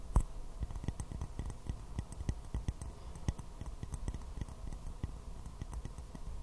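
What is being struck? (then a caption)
Small porcelain teacup, upside down. A small, hollow, empty white porcelain teacup with a floral print is held upside down and tapped quickly with fingernails. The result is a rapid, uneven run of quiet, clicky ticks with a dull low knock under each and almost no ring.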